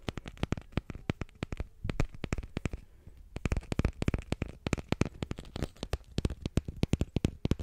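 Long fingernails tap and scratch the taut fabric surface of a small square painted canvas of a sky and meadow on a wooden frame. A quick run of dull, low, dry taps with almost no ring stops briefly near the three-second mark, then picks up again, with faint scratching between the taps.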